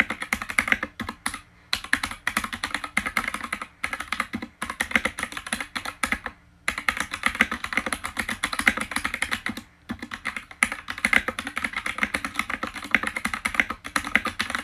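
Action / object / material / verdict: tap / plastic mechanical keyboard / plastic / none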